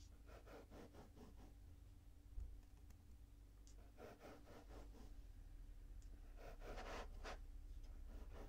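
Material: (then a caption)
Sand. A small blue plastic spatula scrapes and cuts through a mound of pink kinetic sand on a table. Quiet, gritty scraping comes in three groups of quick, rapid strokes, over a steady low hum.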